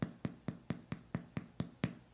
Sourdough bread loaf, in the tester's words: when you tap it it should sound hollow that lets you know that there's a bunch of air in there and that it's baked all the way through